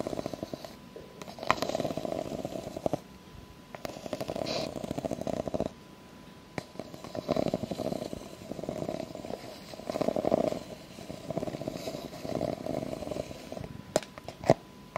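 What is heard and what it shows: Long acrylic nails scratch along the horizontal ribs of a tall, clear, hollow and empty plastic cup, producing bursts of dense, rasping clicks. The scratches come in repeated passes separated by short pauses, with a midrange, buzzy texture centered in the low-mid band and occasional sharper ticks.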